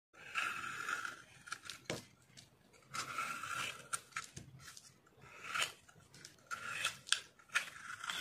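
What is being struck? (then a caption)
Bar of dishwash soap. A metal utility blade scrapes and shaves curls off the surface of a hand-sized, solid rectangular green Vim dishwash soap bar held in one hand, in repeated carving strokes. Each stroke is a dry, crisp, bright scrape with a steady band of mid-high rasp, separated by short sharp clicks and snaps. The shavings fall away with almost no low end and no ring.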